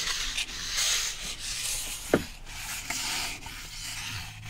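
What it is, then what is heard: Cardboard sheet scratched. A flat rectangular piece of brown cardboard, held in the hands and moved from the side toward the camera, is scratched with fingertips and nails. The result is a steady, bright, dry rubbing and scraping with little low end, broken by three brief, sharper scratches.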